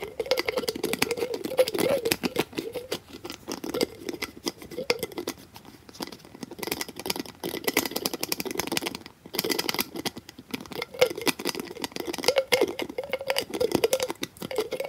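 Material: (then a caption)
Plastic. A small, hollow white plastic pill bottle with a printed label is held in one hand while its white plastic cap is snapped and twisted open and closed with the fingertips. The result is a fast, continuous stream of sharp plastic clicks, snaps and scraping rattles with a hollow, mid-pitched tone. It comes in dense bursts separated by brief quieter moments.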